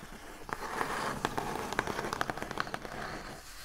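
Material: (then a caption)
Cardboard. Long acrylic nails on both hands tap and scratch the lid of a large, hollow, brown printed corrugated cardboard shipping box. About thirteen short, dry, papery clicks stand out over a steady, soft scratching hiss, and each tap dies away almost at once.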